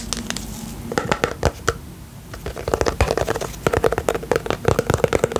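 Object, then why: Small plastic tub with lid, filled with slime. Fingernails scratch the lid rim and side of a small round pink plastic tub with a lid, filled with slime. The result is a quick run of dry, crackly scratches and taps with a midrange plastic tone and short bright clicks, sparse at first, then denser clusters after a brief lull.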